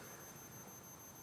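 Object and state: Nothing is struck.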